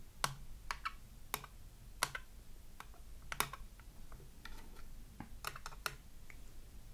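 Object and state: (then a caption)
Glass hand mirror tapped with fingernails. Long acrylic nails tap rapidly on the surface of a small round glass hand mirror in a red plastic frame lying flat on a wooden table. The taps are short, bright clicks that die away almost instantly, some close together and some spaced apart, over a low steady background hum.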